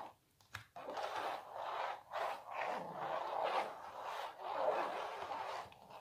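Long nails scratch and tap across a small, hollow printed canvas stretched on a wooden frame. A brief tap is followed by sustained, raspy scratching strokes centered in the midrange around 600 Hz, rising and falling in waves with short pauses between passes.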